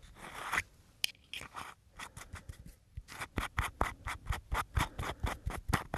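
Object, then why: Small aluminium screw-top tin. A small, hollow, round silver aluminium tin with a screw lid is held in both hands while fingertips twist and rub the lid against the body. It gives a broad, rasping scrape, then a quick series of short, bright scratches. About fifteen separate strokes can be picked out, coming at an uneven pace.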